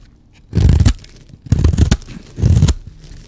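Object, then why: Bar of soap. A blade scrapes and shaves a solid, dry green and white striped bar of soap. Three separate passes are heard, each a short, gritty, crunching scrape with a full low body. Quiet pauses fall between the passes.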